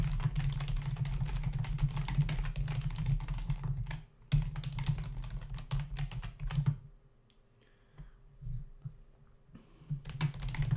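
Fingertips of both hands rapidly tap the hollow key caps of a black plastic membrane desktop keyboard in a dense, uneven clatter of soft, low, thumpy keystrokes. The typing stops briefly around four seconds, quiets almost completely from about seven to ten seconds with only scattered taps, then picks up again at the end.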